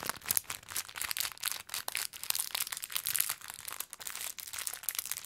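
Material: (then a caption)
Plastic. A small clear plastic bag full of orange konpeito sugar candies, tied with a green ribbon, is held in both hands and crinkled with the fingertips. Dense, bright crinkling and crackling of the plastic comes in rapid, irregular bursts with almost no low end, as the candies shift and rattle inside the bag.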